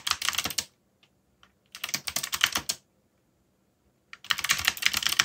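Fingertips type on a backlit plastic mechanical keyboard with dark plastic keycaps, producing rapid, bright clicking keystrokes. The typing comes in three bursts separated by short silences, with a few isolated key taps in the gaps.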